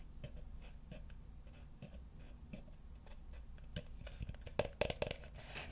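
Fingertips and nails tap and scratch the slats of a small, hollow, empty, light wooden bucket with a rope handle and a WWF logo. Soft, short knocks with a hollow tone around 590 Hz repeat over a steady low rumble. Faint, bright scratching grows denser and louder toward the end.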